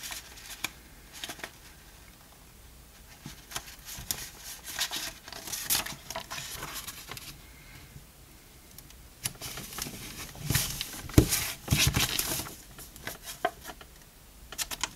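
A small, palm-sized stack of thin, flat pink-orange crepe paper, folded into layers, is pressed and rubbed along its folded edge by the fingertips of both hands to crease it. Soft, irregular bursts of dry crinkling and rustling come and go over a quiet background, with bright, papery crackle in the louder stretches.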